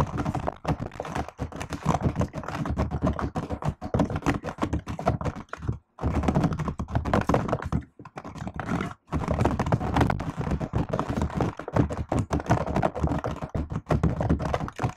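Fast typing with fingertips and long nails on a laptop keyboard with plastic keycaps and an aluminium body makes a dense, continuous run of short, dull clicks and thunks, weighted toward the low end. The stream breaks only in brief pauses around the 6, 8 and 9 second marks.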